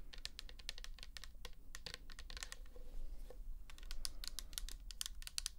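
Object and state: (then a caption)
Plastic bottle tapped with fingernails. Long nails tap rapidly on the label of a pink plastic toner bottle filled with liquid, making a quick, irregular run of short, bright clicks. Each tap dies away almost instantly over a steady low hum.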